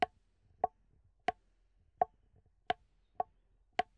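An empty red plastic party cup, hollow and cup-sized, is held upside down in one hand and tapped and scratched on its sides and base with the fingertips. Seven quiet, sharp hollow taps sound at a steady pace, each with a mid-pitched tone around 730 Hz that dies away almost instantly, leaving near-silence between them.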